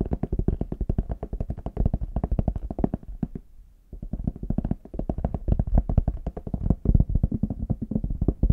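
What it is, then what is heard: Faux leather hard shell case. Fingertips and short nails rapidly tap and scratch the smooth, flat back of a small, hollow, brown faux leather hard shell case held in both hands. The result is a dense stream of dull, low, hollow thuds with very short decay, broken by a brief quieter scratching pause midway before the tapping resumes.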